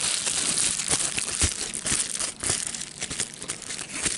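A clear plastic bubble wrap sheet with air-filled bubbles is held in the hands, crinkled and squeezed with the fingers to pop the bubbles. A steady, bright crinkling rustle runs throughout, punctuated by sharp, short pops at an irregular pace.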